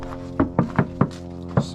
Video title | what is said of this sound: JUNKYARD PARTS HELPS SAVE MONEY! | That sounds solid right there.